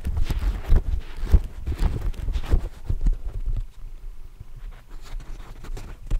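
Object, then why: Hardcover book, fore-edge of paper pages. Fingertips and nails scratch and tap along the paper fore-edge of a thick hardcover book, held horizontally with its page edges facing the microphone. The solid stack of paper gives dull, close, low-heavy thumps and soft scratchy rustles in an irregular rhythm, each tap dying away almost at once.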